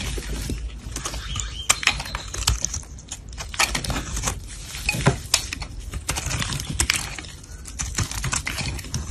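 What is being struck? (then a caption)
Bar of soap scraped with a blade. A solid cream-white soap bar, held in gloved hands, is scraped by a black blade that shaves off crumbly white shavings. Dense, dry crackling scrapes and sharp crumbly clicks come in quick bursts over a low rumble, with bright, hissy edges.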